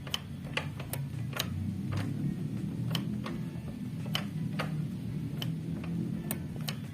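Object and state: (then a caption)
Carburetor throttle slide returning freely. After cleaning, a motorcycle's metal carburetor throttle slide is opened and released repeatedly, dropping back with small, sharp "tek" clicks over a steady low hum and background music. The clicks show the slide returns fully and is not sticking, which would otherwise make the engine rev on its own.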